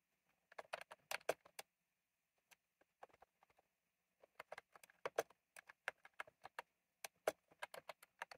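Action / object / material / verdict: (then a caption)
tap / plastic mechanical keyboard with round keycaps / plastic / none. Fingertips type on a retro mechanical keyboard with round plastic keycaps, producing quick, bright, crisp clicks with almost no ring. A rapid burst of keystrokes is followed by a few scattered taps, then a steadier run of typing to the end.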